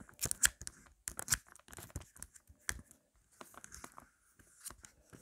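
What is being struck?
Plastic phone case.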